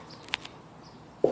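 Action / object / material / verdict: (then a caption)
knock / sheet-metal car roof panel / sheet metal / bare. A knock on the roof panel of a VW Fastback, where sections are being lined with glued-on padding, gives a few faint, quiet taps followed by one loud, resonant knock centered around 500 Hz. The bare sheet metal rings louder than the padded section, which stays quiet as intended.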